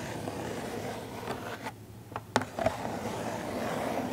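Long acrylic nails scratch and tap the cardboard sides and corners of a small printed Funko Pop box with a clear plastic window and a figure inside, held in both hands. A soft, steady scratching hiss gives way to a brief quieter stretch, then three sharp, dry taps with almost no ring before the scratching resumes.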